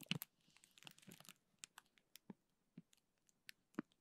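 A small clear plastic zip bag filled with teal gel beads is held in both hands while fingers squeeze and crinkle it. A dense burst of bright crinkling gives way to sparser, separate crisp crackles with soft low thumps, all at a quiet level.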